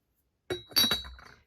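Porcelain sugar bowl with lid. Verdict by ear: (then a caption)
Thin-walled. A sugar bowl with a hand-painted lid, from a vintage Polonne porcelain tea set, is clinked three times. It gives bright, glassy chinks with a clear ring near 3.9 kHz that fades within about a second. The clear ring shows the porcelain is thin-walled.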